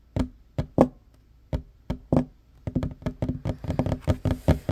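Fingertips and short nails knock and tap on a flat, solid wooden table top, making dull, low thuds with a woody tone near 250 Hz that die away almost at once. The taps start sparse and uneven, then speed up into a quick, busy run of knocks.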